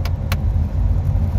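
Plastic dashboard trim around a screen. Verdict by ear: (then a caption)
Hollow. Two knocks on the plastic dashboard trim surrounding the touchscreen of a Dacia Duster 2 dCi 110 EDC Prestige give short, hollow taps over a steady low rumble. The trim sounds hollow like the other interior parts, a cheap finish.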